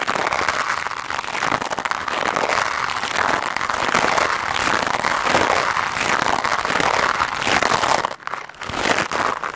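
A stiff white-bristled green plastic scrub brush, held in the hand, rapidly scratches and brushes a large black foam windscreen on a microphone. The result is a dense, continuous crackling rasp centered in the midrange, with almost no low end. It briefly drops out near the end before resuming.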